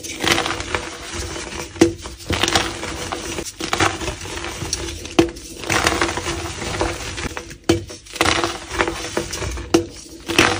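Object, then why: Dyed gym chalk block. A solid, palm-sized grey/black-dyed gym chalk block is held in both hands and crushed and crumbled with fingertips and nails into grey powder. Dense, dry crunching and gritty crumbling run throughout, broken by sharp, bright snaps as pieces break off. The block steadily breaks down to powder.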